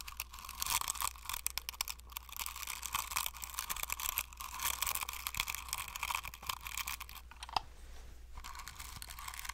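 A flat paint brush stipples and scratches the ridged plastic faces of a hand-sized hollow plastic fidget cube with silicone buttons, held close to the mic. Dense, bright, crackly scratching and tapping runs throughout, with a steady low hum underneath and a short quieter pause near the end.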